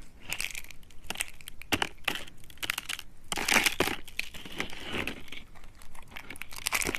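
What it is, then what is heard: Dry soap slices snapping. Fingers with long red nails bend and snap blue, thin, curved slices of dry soap. A quick run of crisp, dry cracks and crunchy crumbling follows, bright with a strong tone near 2 kHz and short bursts that die away almost at once.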